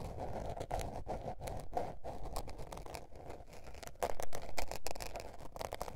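A small blue patterned spiral-bound notebook with a paper cover and a solid stack of paper lies flat on fur and is scratched and tapped with long painted nails. Dry, uneven scratching runs over a low, soft rumble, broken by short, quickly fading taps, with a louder stretch of scratching near the end.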